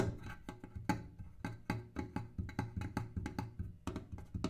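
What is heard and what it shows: A kerosene can is tapped in a quick, uneven run of short, dull knocks. Each tap gives a hollow, low tone that dies away almost immediately.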